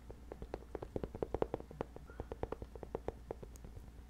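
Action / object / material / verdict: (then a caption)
scrape / padded nylon fabric bag / nylon / none. Fingertips scratch across the padded fabric surface of a hollow, medium black nylon bag held close to the microphone. It produces a quick, uneven series of short, dry scratching ticks with a muffled, papery tone. A faint low hum runs steadily underneath.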